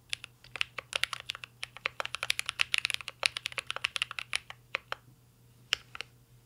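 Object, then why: Mechanical keyboard with metal case and plastic keycaps. Fingertips of both hands type continuously on a mint green Cyberboard R3 mechanical keyboard with a metal case and plastic keycaps. A rapid, uneven stream of sharp, bright, dry clacks centered around 2.6 kHz dies away instantly over a faint low hum. The typing briefly pauses just before the sixth second and then resumes with a few final keystrokes.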